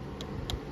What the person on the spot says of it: as you can tell by me tapping on the fuel tank, it's plastic.